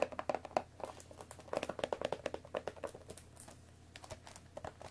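Long nails tap rapidly and unevenly on the top of a hollow, rectangular cardboard Earl Grey tea box that holds tea bags, while hands also grip its sides. The short, dry, hollow taps have a papery mid-pitched knock around 640 Hz with brief bright edges. They come in quick bursts that thin out toward the end.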